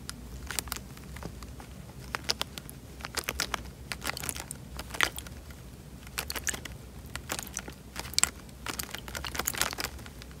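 A tied, clear plastic bag full of water is squeezed and rubbed with fingers. Dense, bright crinkling and crackling is punctuated by many short, sharp plastic snaps that die away almost instantly, over a faint steady low hum.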